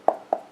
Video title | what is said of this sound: Icy Box IB-279U3 - Un tank de boitier | Ça sonne bien entendu creux, mais pas tant que ça.